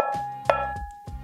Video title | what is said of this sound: Review: Cambridge Audio Alva ST Wireless Belt-Drive Turntable 2022 | what it sounds like if you just tap on one of these aluminum platters. Can you hear that ringing?